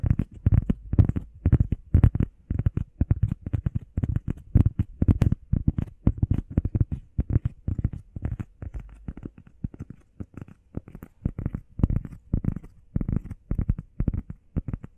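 Long painted nails and fingertips tap and scratch fast on a solid, hand-sized, flat grey textured EVA foam workout pad shaped like a heart. The result is a dense stream of soft, dull, low thuds with almost no ring, broken by brief pauses, plus faint scratchy rustles between them.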